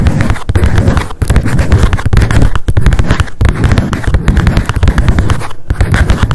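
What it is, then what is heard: Paper spiral notebook. Long decorated acrylic nails tap rapidly on a small pink m.memo spiral-bound paper notebook with a card cover and a solid stack of pages, held in the hands. The dense stream of short, dull clicks is heavy in low-end thump, with only brief pauses in the flurry.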